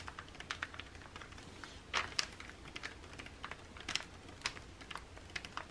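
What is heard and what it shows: Both hands quickly tap the printed pages of an open glossy paper magazine lying flat, using their fingernails. The result is a quiet, rapid, irregular run of short, bright, dry clicks that stop dead with no ring, over a faint low background hum. A slightly louder cluster of taps comes around two seconds in.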